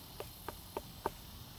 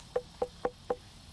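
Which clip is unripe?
The first.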